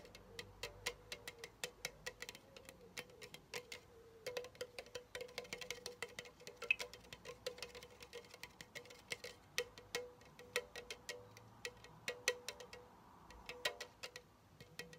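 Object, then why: Aluminum drink can. A pink Chupa Chups soda can, made of hollow aluminum, is held upright and tapped on its side with fingertips and nails. The result is a quiet, rapid, irregular stream of short, bright, tinny clicks and taps that die away almost instantly, over a faint steady low hum.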